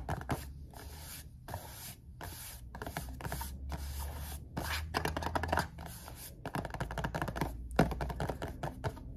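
A small rectangular red printed cardboard perfume box, possibly hollow or holding a bottle, is held upright and tapped on its faces with fingertips and nails. Quick, dry taps and clicks come in bursts with scratchy, scraping brushes between them, each one dying away almost at once. A steady low hum sits underneath throughout.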